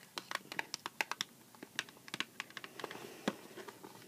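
Long black-painted nails tap and scratch a small, hollow Sour Patch Kids cardboard candy box held up in the air. About twenty quick, dry, clicky taps land in an uneven rhythm, each dying away almost at once. Faint scratchy rustling fills the gaps between them.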